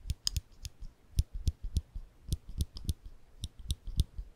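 A small rectangular metal clicker with a ridged, textured body is held in the fingertips just above the microphone while the fingers press its mechanism. It makes 14 short, dry clicks at an uneven pace, each with a soft low thump under a bright snap that dies away almost instantly.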